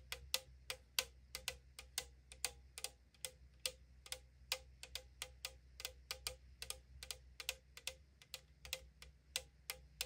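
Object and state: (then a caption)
Aluminum drink can tapped with nails. Long nails tap and scratch the printed side of a tall, thin-metal AriZona aluminum drink can, producing about three dozen quick, bright, clicky taps that die away almost instantly. A faint steady low hum runs underneath throughout.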